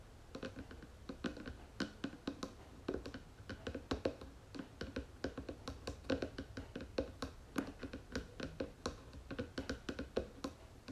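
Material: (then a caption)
Wood. Long nails tap rapidly on the wooden lid of a round wooden jewelry box, producing a steady stream of short, dry clicks with a hollow mid-range body and a bright edge. Each tap dies away almost instantly over a faint, low background hum.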